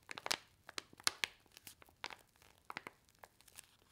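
A single small, flat, red paper-and-foil laminated instant soup sachet with printed instructions, filled with dry powder, is held in both hands and squeezed and crinkled with fingertips and long white nails. Around fourteen quick, bright crinkles and crackles come through, each dying away almost instantly, with very little low end.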